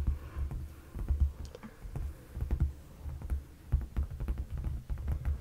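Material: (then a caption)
Leather. Fingertips of both hands tap on the seat of a dark, padded leather sofa cushion. The taps come as a quick, uneven patter of soft, dull, low thumps that die away almost instantly, with only faint brighter clicks on top.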